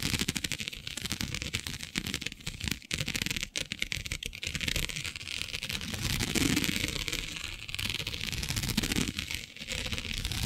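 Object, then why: Plastic diamond mesh sheet. Long nails scratch across a flat black iridescent plastic mesh sheet with diamond-shaped openings. The result is a dense, bright, crackly stream of rapid clicks and ticks as the nails catch on the grid, with a few brief pauses along the way.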